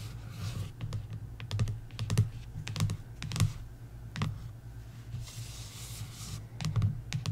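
Long nails tap the glossy card front cover of a paperback coloring book lying flat on a wooden table. Quick, bright, dry clicks come in an irregular, uneven rhythm over a steady low hum, each tap dying away almost at once.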